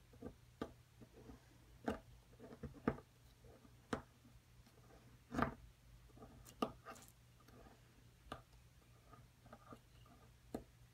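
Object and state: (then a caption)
Plaster block being scraped and chipped. A pointed metal pick scratches and chips at the top surface of a solid white plaster excavation block, near its cavity, while a hand with long nails holds the block. The result is quiet, scattered sharp ticks and crumbly scrapes with soft scratching between them, over a faint steady low hum.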